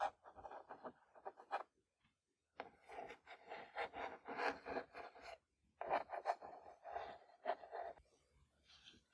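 Fingers tap on a book and scratch and trace across its surface in soft, close bursts. The dry, papery rustles and light taps cluster in the midrange, with two brief pauses of near silence between the runs.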